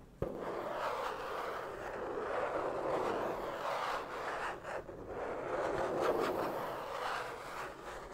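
Fingertips and nails tap and rub across the cover of a large, closed black vinyl "Collectors Album" card binder held up in the air. A sharp tap opens the clip, followed by steady, papery scratching and rubbing centered in the midrange, with brief pauses and soft taps along the way.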